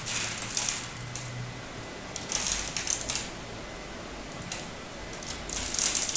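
A metal utility-knife blade scrapes and chips crisp flakes from the face of a solid turquoise hard bar soap held in the hand. Bright, dry, crackly scraping comes in short bursts separated by quieter pauses, with most of the energy in the high range and little low end.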